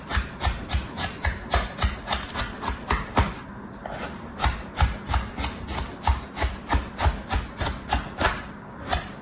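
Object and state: Kinetic sand being cut and scraped.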